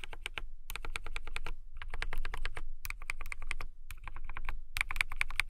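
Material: Acrylic plastic.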